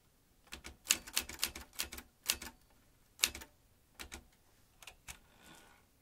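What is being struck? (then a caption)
Manual typewriter with metal typebars. Fingertips press the round keys of an old manual typewriter, a vintage metal machine whose metal typebars strike the mechanism. Bright, crisp clacks come in quick irregular bursts with short pauses between them, each dying away almost at once. A soft rustle follows at the end.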